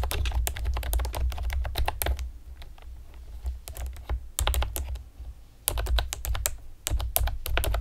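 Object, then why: Plastic computer keyboard with round keycaps. Long painted nails and fingertips type rapidly on a pastel plastic typewriter-style computer keyboard with round retro keycaps and hollow keys. Bursts of quick, bright clicky taps come in bursts separated by a few short pauses, over a steady low hum.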